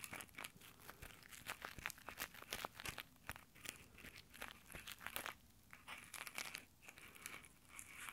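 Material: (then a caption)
Nylon. Fingertips in rough nylon exfoliating gloves scratch and rub over the metal mic grille of a handheld Tascam recorder. The result is a dense stream of quick, crunchy fabric-friction crackles with a bright, hissy edge and very little low end, each scrape dying away almost instantly.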